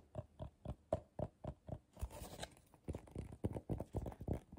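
Fingertips and short nails tap quickly on the base and sides of a medium, hollow, empty bowl of coiled colorful paper turned upside down. The result is a rapid run of soft, dull, hollow knocks with a muffled midrange tone around 640 Hz, briefly broken by a scratchy brushing sound. The knocks then continue in a quick, uneven rhythm.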